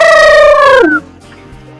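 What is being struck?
Nothing is struck.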